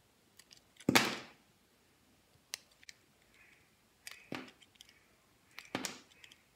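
A utility knife blade shaves and slices the edges of a solid, palm-sized yellow Dettol soap bar held in the hand, in repeated cutting and scraping strokes. Three main crisp, bright slicing cuts each end in a short scraping tail, with light clicks and soft scrapes between them. The sound is dry and quiet, and each stroke fades quickly.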